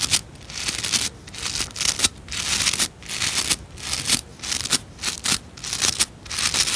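Long nails flick and scratch the stiff nylon bristles of a white plastic scrub brush held in both hands. The result is a run of bright, hissy, crackling scratching bursts separated by short quiet gaps.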